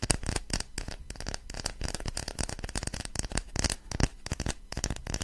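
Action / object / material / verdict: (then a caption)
tap / small wooden block / wood / none. Long fingernails rapidly tap and scratch a small, light-coloured rectangular block of solid wood held close to a microphone. The result is a dense run of dry, clicky taps with almost no ring, mixed with crackly scratching that carries a low, close-up thump and a bright, brittle edge.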